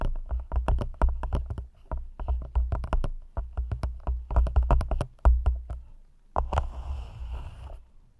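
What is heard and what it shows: Long nails tap quickly and repeatedly on the sides of an empty, hollow, thin clear plastic cup held over the mic, each tap a short click over a deep, boomy thump. Near the end, the nails scratch along the cup, giving a soft, bright hissing rasp that fades out.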